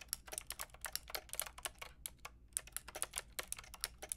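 Fingertips and long nails type on a full pink, grey and white plastic mechanical keyboard with round plastic keycaps. A quick, steady run of bright, crisp clicks with almost no ring sounds over a faint low hum, with a brief pause near the middle.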